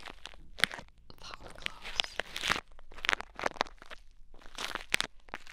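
Blue bead play foam pressed onto the ear of a mannequin head microphone is poked and picked with a thin wooden stick held in the fingers. It makes a string of dry, crackly crunches and bright, bead-popping bursts with quiet gaps between them, each dying away almost instantly.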